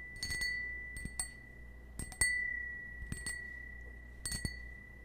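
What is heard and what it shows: Fingernails tap a small, hollow, empty cut-crystal stemmed wine glass held in the hand, striking it eleven times in loose pairs and clusters. Each tap gives a sharp click followed by a clear, sustained ring near 2 kHz with bright overtones that fade slowly between strikes.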